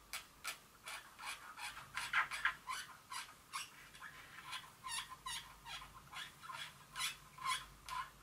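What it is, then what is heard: Glass perfume bottle. Several long fingernails click and tap on a small glass Dior perfume bottle resting on a table. The result is a steady series of quick, bright, dry taps with a light glassy tick around 1.6 kHz and almost no ring after each one.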